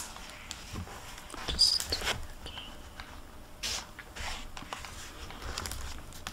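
Hands fan and turn the paper pages of a hardcover library book resting on a table, then close it in its plastic-covered paper dust jacket. Bright, airy rustling and crisp crinkling come in uneven bursts, loudest near the middle, over a quiet background.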